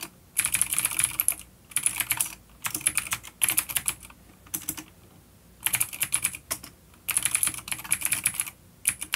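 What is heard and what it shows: Fingertips of both hands type on a full-size dark plastic vintage mechanical keyboard with clicky blue switches and grey keycaps, resting on a wooden desk. Bursts of rapid, bright, sharp clicks with short pauses between them, each keystroke decaying almost instantly.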